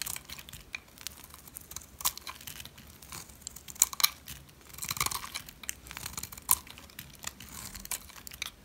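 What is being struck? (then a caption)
Bar of soap scraped by a metal blade. A metal blade peels curled shavings off a solid oval white dry soap bar. The sound is a quiet, dry, bright scraping and crunching, broken by sharp crisp crackles and snaps. It comes in irregular bursts with almost no low end.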